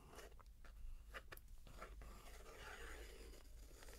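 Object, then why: Paper book page traced with a wooden stick. A wooden stick traces across the illustrated paper page of a large open picture book lying on carpet, while a long-nailed hand rests on the paper. Quiet, crisp scratching strokes give way to a longer, soft rubbing sweep over a low, steady background hum.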